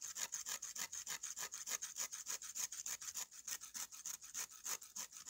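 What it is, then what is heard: Dried clay slab scraped with a knife. A steel knife blade is scraped back and forth over the rough surface of a flat, solid slab of dried red clay held in the hand. It makes rapid, steady, gritty scraping strokes, each a short bright hiss with almost no low end and no ring.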